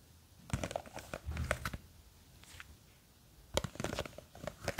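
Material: Plastic.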